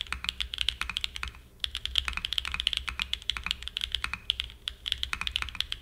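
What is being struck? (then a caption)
Aluminum-cased mechanical keyboard with plastic keycaps. Fingertips type continuously on a Frog mini, a small 60% mechanical keyboard with a black aluminum case and white and grey plastic keycaps, resting on a desk mat. The result is a rapid stream of short, bright, clacky key presses with almost no low end and a brief pause near the middle.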